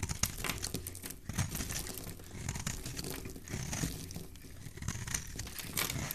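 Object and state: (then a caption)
Bar of soap being shaved. A utility knife blade shaves curls off a solid rectangular white soap bar with green specks. The result is a steady run of dense, crisp, crinkly scraping with soft crunches, a bright hiss riding over a low, muffled body throughout.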